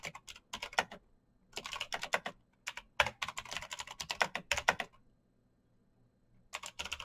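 Fast typing with both hands' fingertips on a black backlit full-size Razer BlackWidow mechanical keyboard, its plastic keycaps over green clicky metal-spring switches. Dense bursts of sharp, bright clicks come in quick runs with short pauses, each click dying away almost instantly.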